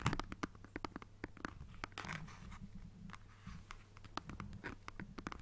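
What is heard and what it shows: A black plastic Nintendo Switch console is held in both hands while fingertips and nails scratch and tap its plastic back. The result is a quiet, close run of short, dry clicks and taps mixed with brief bright scratching swipes, over a faint, steady low hum.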